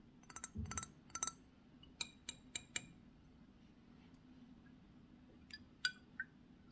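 Fingernails tap and scratch the face and edges of a thick, rectangular, filled Narciso Rodriguez For Her glass perfume bottle with a black square cap, held in both hands. Short, bright glassy clinks ring out around 1.5 kHz, some in quick clusters and some spaced apart, over a quiet low background. Each clink dies away almost instantly.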